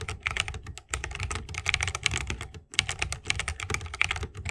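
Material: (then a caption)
Bamboo, plastic. A 60% mechanical keyboard with Holy Panda switches, a bamboo case and plastic keycaps is typed on continuously with the fingertips of both hands. The result is a rapid stream of crisp, bright, short clicks over a soft low thock, with brief pauses near 0.9 and 2.7 seconds.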